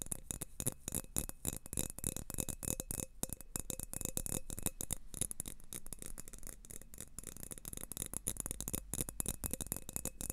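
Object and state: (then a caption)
Thin drinking glass. An empty thin clear glass tumbler, held upright with both hands, is tapped and stroked with fingertips and nails. The result is a dense stream of quick, dry clicks and taps with a faint thin ringing tone. A low rumble sits underneath, and scratchy bright brushing sounds run over the top.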